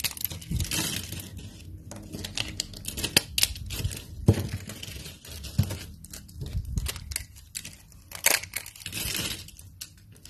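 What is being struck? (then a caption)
Thin soap shavings. Both hands crush, bend and snap a pile of thin, brittle, translucent dry amber soap strips with fingertips and short pink nails. The result is a steady run of dry, crackly crunching with sharp bright snaps and a few louder breaks over soft low thumps. The pile is worked down into fine flakes.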